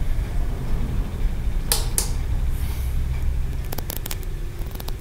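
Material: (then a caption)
Aventurine stone. Fingertips and nails tap and scratch along the stacked ridges of a small, solid green aventurine stone tiered pagoda figurine held in one hand. Sharp, bright clicks and a short scraping rasp rise over a steady low background rumble.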